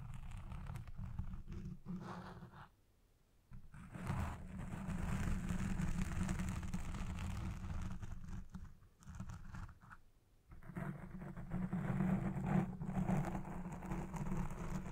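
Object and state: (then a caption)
Foam microphone windscreen being scratched. Long red-painted nails scratch along the side and top of a black foam windscreen on a Blue Yeti Pro microphone. The result is a dense, muffled, low-heavy rasping and scraping that runs steadily, with brief quiet pauses around three seconds and again near ten seconds before the scratching resumes.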